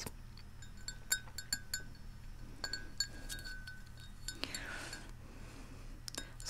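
A large white ceramic Central Perk mug with a yellow interior and a handle, hollow and holding tea, is tapped on its outer wall with fingertips and nails. Light, irregular clinks each give a brief bright ring pitched around 1.5 kHz, with a low steady hum underneath. One softer rustling swell comes midway.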